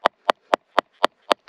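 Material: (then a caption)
Stone. Six evenly spaced, sharp taps on a piece of Ocean Picture Stone, a blue gemstone, lodged in a rock seam, each a short, dry, mid-pitched knock with almost no ring. The piece is loose, popping with more breaking inside as it is tapped, and then comes off.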